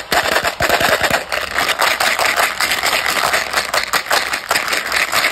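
A small, clear hard-plastic Tic Tac Citrus Mix box, hollow and partly full of yellow, green and orange mints, is held in the fingers and shaken so the mints rattle inside. The result is a dense, continuous clatter of bright, sharp clicks that sits mostly in the upper mids and highs, with almost no low end.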